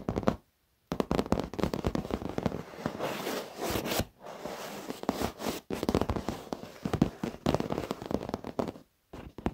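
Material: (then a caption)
Leather. Short fingernails and fingertips of both hands tap and scratch the padded, soft top edge of a black leather office chair's backrest. The result is a dense run of quick, crackling taps and scratchy rubbing, mostly in the low and middle range with little bright top. It is broken by a few brief silent pauses.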